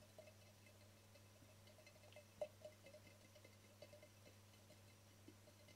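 Fingertips and nails tap the faces and edges of a small, hollow, speckled cream-glazed ceramic cube candle holder with a round hole. Quiet, scattered clicks with one louder tap each give a brief, mid-pitched ceramic ring that dies away almost at once, over a steady low hum.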